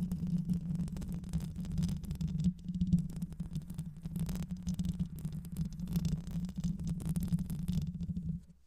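Long white nails scratch continuously over the hollow metal mesh grille of a black microphone. The result is a dense, close-up rasping and rumbling with a steady low hum near 176 Hz, heavy in the bass and without much high-end. The sound holds steady throughout and then fades out at the very end.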